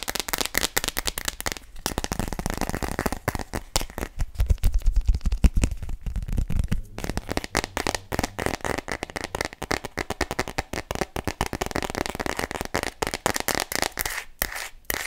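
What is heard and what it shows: Long nails rapidly tap and scratch an empty, small, hollow phone case made of thin clear plastic with glitter, held upright. A dense stream of short, dry clicks and crackly scratches continues throughout, with a heavier, thumpier stretch in the middle. The taps stop almost instantly with no ring.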